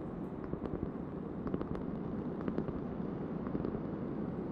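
A large, thin, solid round cork board, held edge-on and then flat, is tapped with long painted nails. The taps are a quick series of soft, dull clicks with very short decay, riding over a steady low, muffled background noise.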